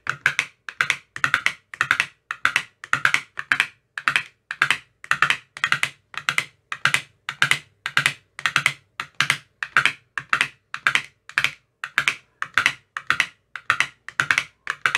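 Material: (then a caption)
Plastic, silicone. A metal rod with a white tip taps one after another across the cells of an empty clear plastic ice cube tray with green silicone cell bottoms. It makes quick, dry, clicky taps in short rapid bursts with brief gaps between them. The sound is bright and hollow, centered in the upper mids, with almost no low end and almost no ring.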